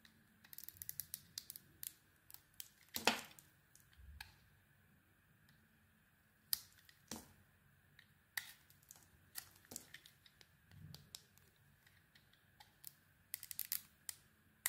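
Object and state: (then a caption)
Bar of soap. A solid white bar of soap with a pink coated surface is held in the hand and shaved with a metal blade. Quiet, crisp scraping and clicking cuts come in irregular bursts, bright and dry with almost no ring. Soft pauses fall between the cuts.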